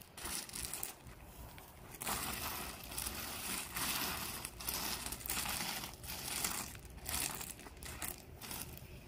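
Gloved hands sweep and level loose landscape rock, small tan gravel pebbles filling a strip between pavers. The stones give a steady, bright crunching and scraping that swells in uneven bursts over a low background rumble.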